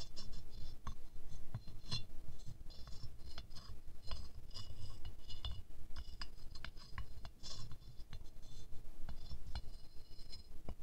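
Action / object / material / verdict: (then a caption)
tap / glazed ceramic rose figurine / ceramic / none. A wooden stick taps along the petal edges of a small silver-glazed ceramic rose figurine. The result is a steady run of short, dry clicks and bright glassy clinks, some fast and some slow, over a soft low rumble.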